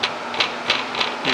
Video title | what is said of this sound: Stretching Newman Mesh Snap Panels Part 2 | there is no rocking in the frame the frame is still perfectly made to these four machine corners